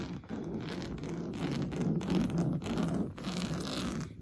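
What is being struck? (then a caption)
Coarse-weave fabric sofa cushion. Blue-painted fingernails scratch fast and hard across an orange coarse-weave fabric on a stuffed sofa cushion. The result is a steady, rough, dull scraping texture, heavy in the low range with brief dips between strokes.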